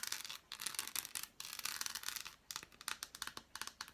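An unwrapped solid dark chocolate bar with embossed squares is held in the hand and scratched and tapped with long black nails. Quiet, crisp, high-pitched scratching comes in rapid bursts with short pauses between them, mixed with quick dry taps and almost no low end.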